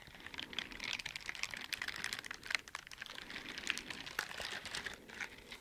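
Teal silicone bristle dishwashing gloves worn on both hands are rubbed and scratched with gloved fingers in front of the microphone. The result is a dense run of quick, crisp scratching and ticking sounds, bright and airy with almost no low end, like rapid light typing.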